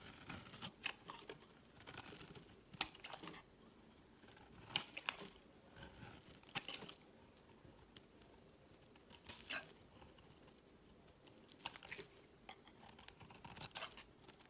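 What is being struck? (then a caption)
Bar of soap. A box-cutter blade scrapes and carves thin curls off the edge of a solid, palm-sized bar of white soap held in one hand, with the shavings piling on a woven mat. Quiet, bright, crisp scraping and crunchy shaving strokes come in irregular bursts, each one short and dry with almost no ring, over a soft background hiss.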